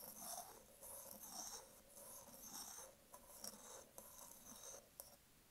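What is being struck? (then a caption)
Wooden candle jar lid. A round, flat, solid wooden candle jar lid with a printed label, held in one hand, is scratched and tapped with long acrylic nails. Soft, hissy rhythmic scratching swells come roughly once a second, followed by a few sharp, dry taps with almost no ring.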